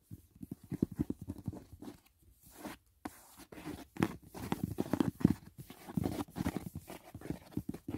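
Fingertips tap the side edge and lid of a closed, rigid white paperboard gift box, making quick, soft, dull taps. The taps come in irregular bursts with short pauses in between. Each one is low and hollow and dies away almost instantly.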